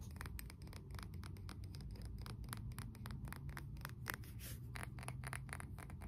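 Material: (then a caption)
Ceramic. Nails and fingertips tap and scratch the sides of a glossy blue glazed ceramic candle jar filled with wax and topped with a wooden lid. Rapid, sharp clicks and light scratches follow one another closely, each dying away almost instantly over a steady low rumble.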